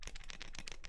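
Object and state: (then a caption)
Hollow plastic light-up die. A copycat light-up LED die, built from two halves of a translucent plastic shell painted black and completely hollow, is shaken close up. It produces a quick, continuous hollow rattle of light clicking taps.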